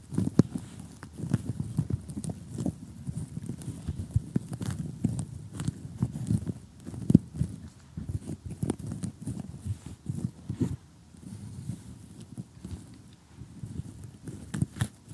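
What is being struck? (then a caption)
Cardboard jigsaw puzzle pieces. Fingernails tap and scratch across a glossy cardboard jigsaw puzzle of houses and blue sky, its thin solid pieces lying flat. Quick, dry, close-up taps with a dull low body and faint bright crackle come in irregular clusters over a soft rustling scrape, with each tap stopping instantly and a few louder clicks standing out.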